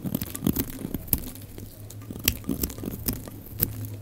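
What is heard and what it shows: A utility knife blade shaves slices off the surface of a solid, rectangular, pale green bar of dry soap with embossed lettering, held in the hand. Each cut makes a dry, crisp crunch with sharp, bright clicks, and the cuts come in an uneven series over a low, steady hum.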